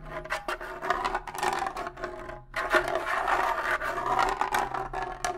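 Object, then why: Rawhide bongo drum head. Fingernails scratch one rawhide head of a pair of bongo drums held up close, giving a dense, dry rasping texture with a faint hollow midrange ring from the drum. The scratching runs in quick overlapping strokes with bright edges, pausing briefly midway before resuming.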